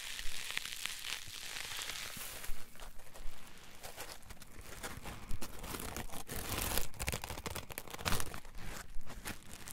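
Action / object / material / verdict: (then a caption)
scrape / polyethylene foam block / polyethylene foam / none. A solid green polyethylene foam block is held and squeezed with fingertips and thumbs while they rub its surface. The result is a steady, irregular crinkling, crunching and squeaking texture, with short louder squeezes standing out now and then and a low, muffled body under brief bright rustles.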